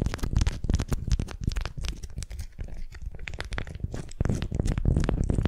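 A candy-shaped beeswax-coated cotton wrap around a wooden sphere is gripped and twisted with long nails, producing rapid, irregular crinkling and crackling. The dense, papery rustle carries a heavy low thump under short bright snaps, easing briefly in the middle before building again.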